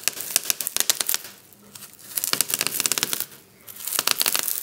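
Fingertips and a palm press and rub across a flat sheet of clear plastic bubble wrap lying on a table. Bursts of rapid, bright crackling pops and crinkles come in three clusters, separated by two brief quieter stretches of soft rustling.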